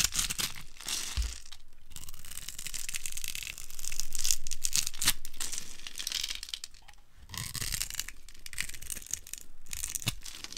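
A metal blade scrapes small crunchy cubes off a dry, solid, translucent amber glycerin soap bar scored in a grid. The sound is a steady, dense run of dry scraping and crunching with a bright, hissy edge and occasional low thumps. It swells louder around the middle and again near the end.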